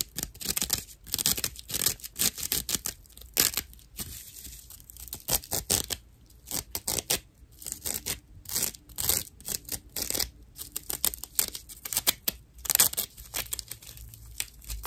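Long nails scratch a slice of dried natural loofah sponge with hollow chambers, making rough, dry, bright scratching bursts in quick irregular strokes. The sound is crisp and mostly high with very little low end, and each stroke stops abruptly with no ring.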